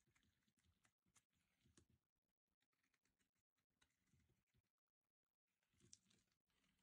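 A metal blade shaves flakes off a solid, hand-sized orange bar of dry soap. The quiet, dry scraping and crackling comes in short bursts separated by brief pauses, with a bright, papery texture above a soft low rustle.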